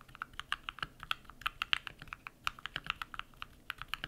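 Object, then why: Mechanical keyboard with plastic keycaps. Bare fingertips type rapidly on a compact modded mechanical keyboard with white PBT plastic keycaps and lubed switches. About two dozen quick, separate clacks come in an uneven rhythm, each bright and crisp with almost no low end. Every press stops dead with no ring.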